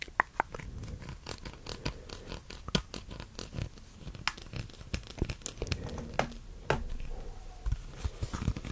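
A long white, hollow, flexible corrugated plastic hose is held in both hands close to the microphone and bent while fingers rub and scratch along its ridges. Dense, irregular bursts of sharp crackling clicks and scraping ticks fall over a low, soft rumble of handling noise, with brief crinkling and tearing-like textures.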